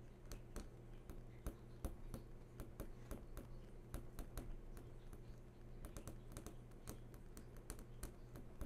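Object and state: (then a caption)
Flat-screen TV panel. Fingernail tips tap and trace across the glossy panel of a large flat-screen TV that is switched on. Quick, sharp clicks come in an uneven rhythm, with faint scratchy tracing between them, over a steady low hum.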